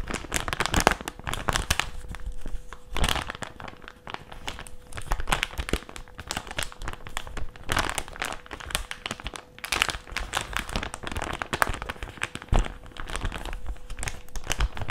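A flat white plastic mask pouch is held in both hands and flexed and crinkled with the fingertips. Dense, continuous crinkling and crackling fills the clip in irregular bursts, with sharper snaps, low handling thumps and a faint steady tone underneath.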